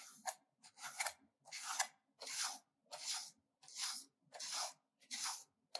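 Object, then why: Bar of soap on a metal grater. A solid pink bar of soap is grated with a metal hand grater, with a heap of shavings building up in the grater. About ten bright, dry rasping strokes come at a loosely steady pace, each a short scrape with no low-end weight.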